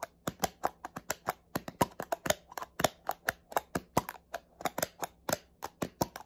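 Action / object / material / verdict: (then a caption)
tap / plastic spray bottle / plastic / none. Fingernails tap rapidly on the cap and body of a small black plastic spray bottle, giving about 31 sharp, dry clicks in quick, uneven succession. Each tap is a hollow plastic tick centred around 640 Hz with a bright, crisp edge that dies away almost at once, over a faint low hum.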